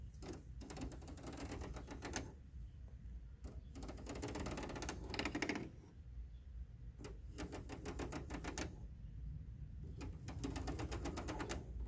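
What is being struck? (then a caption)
Plastic air conditioner front grille. Fingertips and short nails scratch and tap across the thin louvers of the white ribbed plastic front grille on a large, hollow window air conditioner. The result is bursts of rapid, dry clicking and rattling broken by brief pauses, over a steady low rumble.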